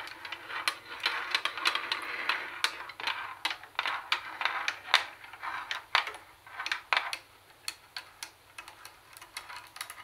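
Long nails tap the plastic CD lid of a hollow Sony CFD-101 plastic CD cassette boombox, then scratch and tap its plastic carry handle. Quick, irregular clicky taps with short, dry decays mix with softer scratchy passages, all sitting in the bright mid-to-high range with almost no low end.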